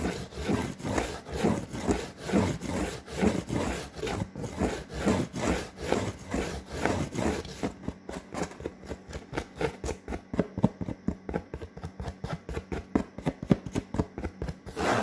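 Long fingernails scratch and rub across a large, flat, brown corrugated cardboard sheet. About halfway through, the broad, rhythmic swishing strokes give way to quicker, sharper scratches. The sound is dry, low and papery, with little brightness.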